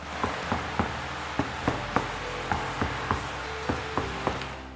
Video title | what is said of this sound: Blaupunkt Sound Deadening SD1.0S - Rear Passenger Seat Door Installation | the solid sound outcome of the rear passenger seat door